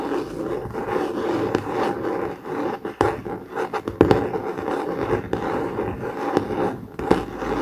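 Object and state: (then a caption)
Hardcover notebook with laminated cardboard cover. A blue COMIX hardcover notebook with a laminated cardboard cover lies flat while its top cover is scratched with the short nails of both hands. The result is a steady, dry, raspy scratching centered in the low mids, with little deep bass and few bright tones. Brief sharper clicks and louder strokes cut through around the third, fourth, fifth and seventh seconds.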